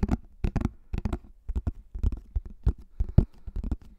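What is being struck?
Plastic flying disc.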